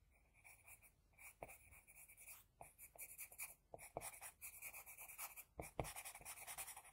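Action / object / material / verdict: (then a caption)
scrape / drawing paper sheet scratched with a graphite pencil / paper / none. An HB pencil scratches across a flat sheet of drawing paper in many quick strokes while drawing an eye. The result is a quiet, dry, bright, papery scratching in short, irregular bursts, with a few sharper taps of the pencil against the sheet.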